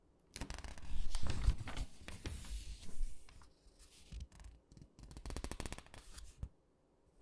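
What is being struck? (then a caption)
Glossy paper catalog pages. Fingertips and long pink nails rub and press the glossy paper pages of an open, thin clothing catalog lying flat on a dark table, then turn the pages. Dense, bright crinkling and scratchy rustles come in uneven bursts, over soft low thumps from the paper pressing against the table, with short quiet gaps between the flurries.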